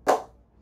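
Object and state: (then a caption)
Willow cricket bat with good ping. A ping test on a CA Plus 15K willow cricket bat: an old ball bounced once on the face of the bat, held straight, gives a single sharp ping. It is centered in the midrange around 750 Hz with a bright attack and a short ring that fades in about a tenth of a second. The bat is rated as having good ping, credited to its willow and craftsmanship, with a huge sweet spot.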